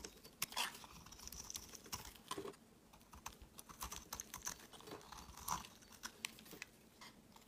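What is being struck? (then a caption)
Bar of soap shaved with a blade. A utility knife blade shaves and carves curls from an opaque pale yellow solid bar of soap held in the hand. Quick, dry, crunchy scrapes and crisp clicking cuts follow one another in an uneven rhythm, each one short with almost no ring. The sound is bright and quiet, with little low end.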